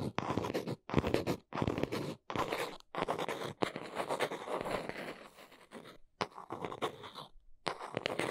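A small brown cardboard box is held close while long nails tap and scratch quickly across its front face. The result is a dense, dry, crunchy scratching and tapping sound in uneven bursts separated by brief silences.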